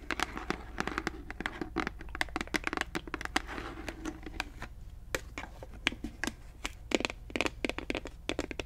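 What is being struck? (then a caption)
Plastic bottle of liquid. Long nails rapidly tap and scratch a large clear plastic Listerine mouthwash bottle with a grey cap, mostly full of liquid. Sharp, bright clicks and crinkly scrapes come in quick, uneven bursts over a faint, steady low hum.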